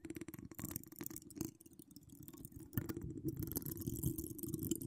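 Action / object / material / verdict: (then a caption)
scrape / steel mesh microphone grille / steel mesh / none. Long acrylic nails with donut charms scratch and tap the hollow domed steel mesh grille of a large condenser microphone with no foam cover, decorated with small wire spirals. Dense, irregular, low rumbling scratches carry faint bright crackle on top. The sound eases into a quieter stretch midway, then grows louder and busier again.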